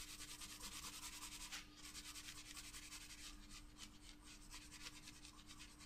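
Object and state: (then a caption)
Pencil shading on a paper sketchbook page. A wooden graphite pencil held in the hand shades a flat paper sketchbook page, rubbing and scratching over the paper surface. Quick, fairly rhythmic back-and-forth strokes give a soft, bright, papery scratching hiss at low volume, over a faint steady low hum.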